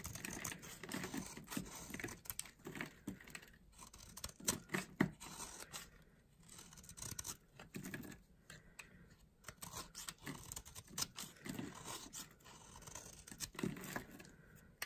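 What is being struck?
Bar of soap scraped with a small blade.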